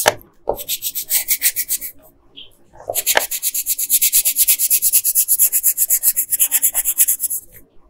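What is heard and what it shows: A yellow wooden colored pencil is rubbed back and forth on a flat paper coloring page, making bright, dry scratchy strokes with little low end. The strokes come in two rhythmic bursts, a shorter run near the start and a longer, steady run after a brief pause, each stroke sharp and quickly fading.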